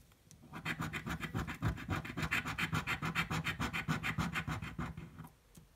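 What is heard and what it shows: A coin scratches the coating off a thin blue card scratch-off lottery ticket lying on a table. About 27 quick, fairly regular rasping strokes come at a steady pace, each with a bright, papery scrape over a low hum.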